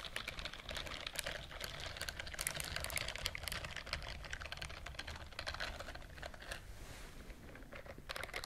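A white silicone bristled scrubbing glove is held upright near the mic while the fingertips and nails of the other hand rapidly brush and scratch its bristles. The result is a dense run of quick, crisp ticks and scratches with bright, high-frequency edges over a low, steady rumble. The clicks come in fast, irregular bursts that thin out briefly near the end.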